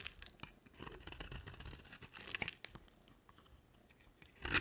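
A box-cutter blade scrapes and carves a solid, dry pink soap bar with a dark coated rim. It makes a run of crisp, bright, crunchy scraping strokes with short tearing textures. The strokes end in a louder, sharper scrape near the close.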